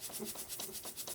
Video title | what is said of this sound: New Bambu Lab A2L Review | If you shake the printer, you can hear those little beads are rattling around in there, and that should physically dampen the movement on this printer.